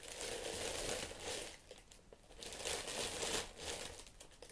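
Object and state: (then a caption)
Tissue paper crinkling. White tissue paper wrapping leather platform boots in an open shoe box is pressed, rubbed and scratched with fingertips and long nails. It makes soft, bright crinkling that swells and fades in two waves.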